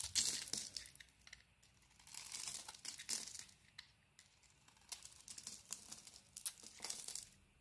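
A palm-sized solid white bar of soap with a bronze-brown painted layer, held in the hand, is scraped and shaved with a utility knife blade, breaking off crumbly flakes. The sound is quiet, dry, bright scratching and crinkling in short bursts of strokes, with almost no low end and no ring after each stroke.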